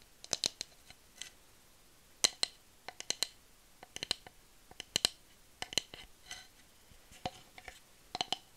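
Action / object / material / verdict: tap / bamboo tube / bamboo / none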